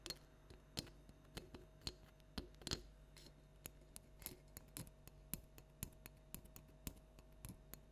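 Long nails from both hands tap and click on a small hollow plastic light-up toy jack-o'-lantern pumpkin resting on a table. The result is a quiet series of sharp, dry plastic clicks with bright edges that stop almost instantly, spaced irregularly over a faint steady low hum.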